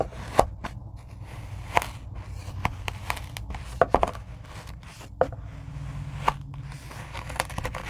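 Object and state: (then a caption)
Kinetic sand being cut. A rocker blade cuts a grid of squares into a tray of kinetic sand, giving soft, dry crunching and crackling slices with sharp, brief clicks scattered through. Beneath them runs a steady low hum, and the quiet cuts stay mostly low and midrange.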